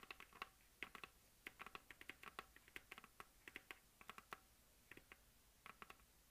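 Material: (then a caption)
Plastic. Long dark nails of both hands tap rapidly on a hollow plastic map globe on a stand, making about thirty quiet, sharp clicking taps in uneven bursts. Each tap is a dry, bright click centered near 2.1 kHz that stops almost instantly, with little low end.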